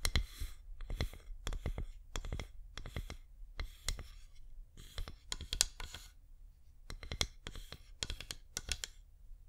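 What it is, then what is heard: Wax pillar candle tapped with nails. A flameless wax pillar candle is turned in the hands and tapped with long nails. Quick, bright clicks come in short clusters with soft scratchy brushing between them over a low background hum, and each tap dies away almost instantly.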